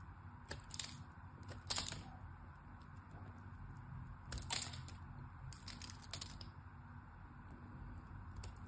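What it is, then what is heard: Bar of soap being sliced. A small metal knife slices into the edge of a solid striped pink-white soap bar. Crisp, bright cracking and scraping cuts come in short clusters, with sharper snaps near the start and middle, over a steady low rumble.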